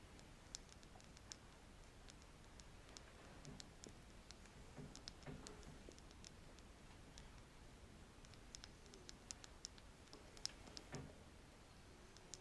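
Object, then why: Wooden stick. A wooden stick is scratched and tapped close to the microphone, producing quiet, light clicking and ticking taps. The scattered, very short, bright clicks sit over a soft, low scratching rustle, with no speech.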